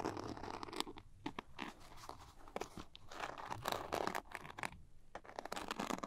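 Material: Glitter fabric.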